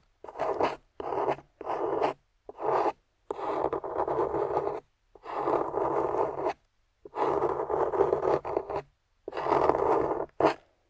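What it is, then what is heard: Clay-coated soap bar being scraped. A small metal spatula with a wooden handle scrapes and carves the dry, chalky beige clay crust off a solid amber glycerin soap bar held in the hand. About eight separate bursts of dry, gritty scraping with a mid-range crumbly texture are broken by brief pauses.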